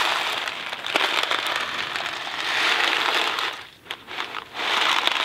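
A thin cardboard Kraft macaroni & cheese box filled with dry pasta is held in two hands, tilted and shaken while fingertips handle its surface. It makes a steady, bright rattling hiss of pasta sliding inside, with crinkly taps on the cardboard. Near the end the sound briefly drops to a few sharp clicks before the shaking rush returns.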